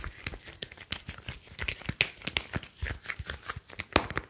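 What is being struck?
Smartphone with glass screen and metal back.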